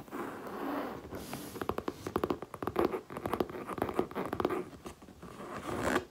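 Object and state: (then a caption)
Faux leather handbag. Long painted nails tap and scratch the front and top of a small, light grey, dome-shaped crossbody purse made of textured faux leather with gold hardware, standing upright and hollow on a table. The result is a quick run of crisp, dry taps mixed with soft scratching rustle, each tap dying away almost instantly.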